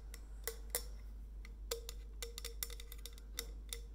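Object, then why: Stainless steel insulated bottle. Long fingernails tap a white stainless steel insulated bottle with a coffee-bean design and its steel cap as it is rotated in the hands. The bright, irregular clicks each carry a short metallic ring near 480 Hz over a steady low hum.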